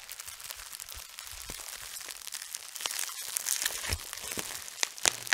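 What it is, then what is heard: Plastic bubble wrap. A large sheet of clear, light, thin and flexible plastic bubble wrap is draped over a woman's head and crinkled and rubbed by fingertips at the edges near her face. Dense, bright crackling and crinkling rustles continue throughout, with a few sharper pops standing out near the end.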